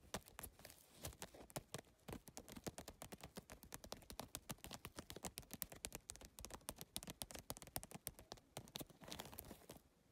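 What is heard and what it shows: Fingertips rapidly tap and scratch the rigid plastic tiles of a holographic geometric PVC-tile handbag. Dense, quick clicks with bright, crisp edges and almost no ring ripple on without pause. Short scratchy passes are mixed in between the taps.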